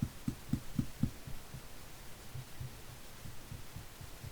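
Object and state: Baked-through sourdough loaf (hollow).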